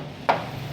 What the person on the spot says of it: Ngayon sir, itong part na to masilyado po to.